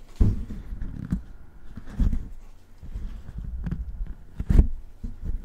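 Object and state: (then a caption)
Metal microphone body tapped. Fingertips tap and rub the hollow housing of a large black metal Blue Yeti–style desktop USB microphone on a stand, held in both hands. The result is a series of dull, low thumps with short rubbing scratches between them. There is almost no high-end ring.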